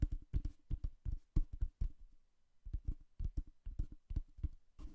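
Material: Cardboard.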